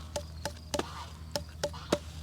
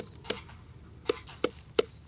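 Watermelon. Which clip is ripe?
The second.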